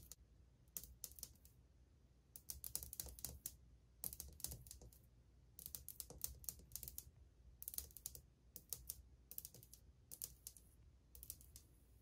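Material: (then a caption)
Ceramic. Long painted fingernails tap in fast, rhythmic drumming on old, glazed white ceramic subway tiles on a wall, a solid surface. The taps come in quick bursts of sharp, bright clicks that die away almost instantly, separated by short pauses over a low, steady background hum.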